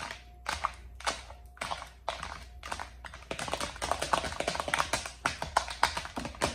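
Long acrylic nails tap quickly on the compartment walls, centre bowl and flat sections of an empty, hollow, large round lime-green plastic divided serving tray. Sharp, dry, bright clicks first come in spaced bursts about every half second over a faint low hum, then turn into a dense, rapid, irregular patter. Each click stops almost instantly, with little ring.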